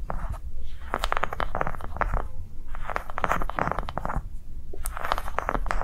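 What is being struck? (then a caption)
Ridged soft rubber ball. Long nails on both hands scratch and tap quickly across the ring ridges of a yellow-green ridged soft rubber sensory ball resting on a table. Bursts of crisp, dense clicking and scratching come in waves over a steady low rumble. Each tap is short and dry, with almost no ring.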